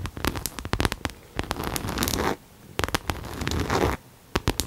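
Long nails scratch and tap the side and front of a pink cherry-print coated canvas Coach crossbody bag, held upright and hollow. Quick, dry clicking taps alternate with rasping scratch strokes that carry a low, hollow thump from the bag, broken by two brief quiet pauses.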